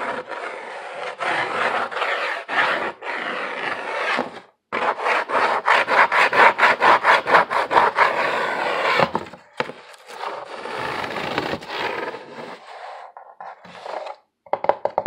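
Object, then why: Corrugated cardboard sheet. Fingernails scratch back and forth across the exposed ribbing of a brown corrugated cardboard sheet held in both hands, making a dry, papery rasp like sawing. The strokes come in rapid, regular bursts after a brief pause, then grow softer and more scattered toward the end.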